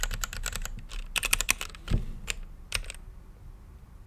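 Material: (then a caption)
Plastic. A mechanical keyboard with plastic keycaps on a clear acrylic case, lit blue and purple, is typed on with fingertips. Quick, sharp, bright key clacks come in bursts. One deeper thock lands near the middle before the typing thins out and a final click closes the clip.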